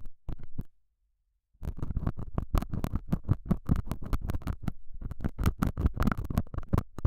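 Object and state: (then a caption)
Felt pad. A hooked metal dental scaler tip, held by fingers with long nails, scratches and pokes the surface of a small square beige felt pad fixed on a clip-on microphone. A rapid run of short, dull, low-pitched scratchy thumps follows an opening burst and a brief pause, with almost no high-frequency content and no ring after each stroke.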